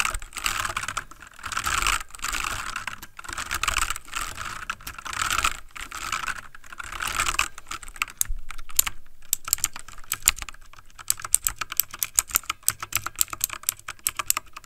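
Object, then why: Plastic mechanical computer keyboard. Fingertips of both hands type rapidly on a full-size backlit plastic mechanical computer keyboard. For the first half, the taps blur into dense, bright clattering swells. After that they break into sharp, distinct high clicks with very short decay.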